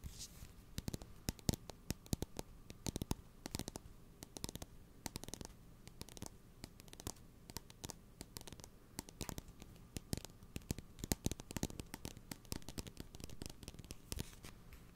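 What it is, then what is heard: Cardboard salt canister. A blue cylindrical cardboard salt canister held close to the mic has its side scratched and tapped with fingernails. Quick, dry taps and scratching strokes come steadily and unevenly over a faint steady hum, each click stopping at once with no ring.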